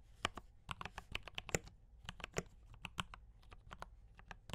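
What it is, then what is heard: Mechanical keyboard with plastic keycaps. Fingertips of both hands type rapidly on a full-size D84 mechanical keyboard with Gateron brown switches and cream and red plastic keycaps, resting on a desk. Quick, uneven bursts of short, crisp clacks follow one another, each with a dull low thock beneath a bright plastic click that dies away almost at once.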